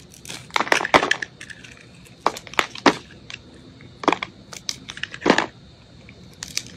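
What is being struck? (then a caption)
Bar of soap scraped with a metal blade. A metal utility blade shaves and scrapes the surface of a solid white soap bar with remnants of blue glitter, held in hand. Short, dry crunching and scraping bursts come in irregular clusters, bright and crisp with little low end, separated by quiet pauses.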